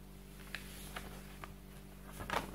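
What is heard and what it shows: Fingertips slide across and flip single pages of a large, open softcover paper textbook resting on a table, its solid stack of printed pages giving soft rubbing sounds. Four short, brighter papery flicks stand out, the last being the loudest and fullest, over a steady low hum. A digital clock stands nearby and is not touched.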